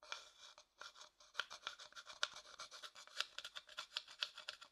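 A thin wooden stick stirs and scrapes the inside of an empty, pale, hollow wooden bowl held in the palm. The result is a quiet, rapid series of short, dry scrapes and taps, each with a faint woody tone near 1.4 kHz. The scrapes are bright and thin, with almost no low end and very little ring.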